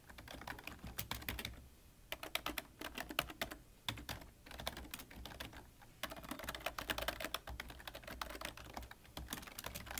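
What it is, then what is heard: Plastic computer keyboard being typed on. Both hands type quickly with fingertips on a full-size black plastic computer keyboard with a hollow body. Rapid, dense key taps come in bursts with short pauses. Each click is sharp and bright, and a low hum runs underneath.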